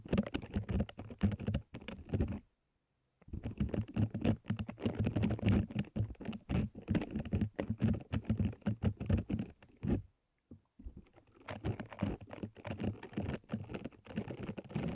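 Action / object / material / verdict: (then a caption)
scrape / silicone bristle scrubber pad / silicone / none. Fingertips scratch and rub across the soft bristles of a small orange silicone scrubber pad draped over a microphone. The result is a dense, close, low-heavy patter of rapid scratchy taps, with brief silent pauses near the 3-second and 10-second marks.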